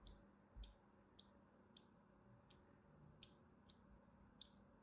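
A thin metal blade scores lines into the surface of a solid purple striped soap bar held in hand, making eight short, bright scratching clicks spaced through the clip. Each scrape is crisp and dies away almost at once over a faint low background hum.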